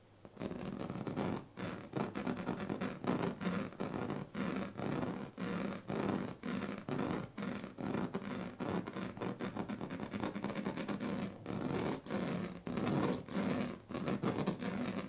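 The teeth and tail of a pink plastic comb are scratched across the strips of a large, flat woven plastic sleeping mat. Steady rounds of dry, raspy scratching strokes follow one another with brief pauses between them. The sound is fairly low and dull, with little bright content.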